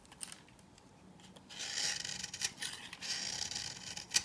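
A green-handled knife cuts and scrapes thin curls and grid cuts into the surface of a hand-sized solid bar of old, dry, cream-yellow soap. A faint scratchy start gives way to sustained bright, dry scraping and rasping with quick crisp ticks, ending on a sharp snap.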